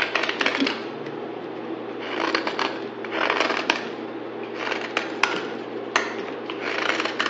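A utility knife blade held in one hand scrapes and shaves a palm-sized, rectangular solid bar of pale green soap held in the other, cutting thin curls into a pile of shavings. Repeated bursts of dry, crackly, bright scraping are heard, punctuated by a few sharp clicks, with a faint steady low hum underneath.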